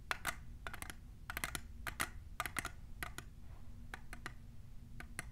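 Long nails fitted with plastic clips tap a tall, hollow, clear printed plastic tumbler in quick, irregular bursts. Each tap is a sharp, bright click with a faint hollow tone around 1.4 kHz that dies away almost instantly, over a steady low hum.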